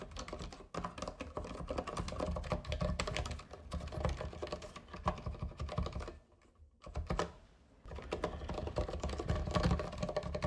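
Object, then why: Plastic mechanical keyboard keys. Both hands type with their fingertips on a compact white and green backlit mechanical keyboard with plastic keycaps, producing a fast, dense stream of deep, muted clacks. The typing pauses briefly near the middle, resumes for a short burst, goes quiet again, then picks back up steadily to the end.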